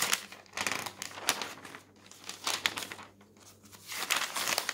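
Fingertips flip the thin newsprint sheets of a paper newspaper lying on a table, open at the comics and puzzle pages. The result is a run of bright, crisp crinkling and rustling bursts with soft gaps between them, with almost no low end.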